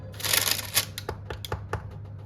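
A freshly baked wheat poolish loaf, about 35 minutes at 210°, is tapped to check whether it is done. A crackly, hissy rustle is followed by a series of short, dry, hollow knocks over a faint low hum. The knocking "tuk-tuk" sound shows the loaf is baked through.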